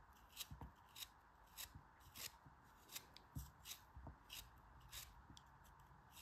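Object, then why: Kinetic sand block cut with a knife. A knife blade cuts thin slices from a solid, hand-held yellow kinetic sand block. Eleven short, crisp slicing strokes each give a bright, hissy scrape with a soft low thud underneath, separated by quiet gaps.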